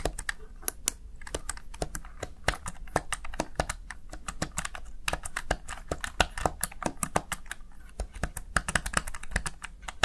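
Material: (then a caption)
Plastic. Fingertips repeatedly tap and press the keys of a Razer Tartarus Chroma plastic gaming keypad. The result is a steady stream of short, sharp plastic clicks that decay almost instantly, with bright attacks over a quiet low hum.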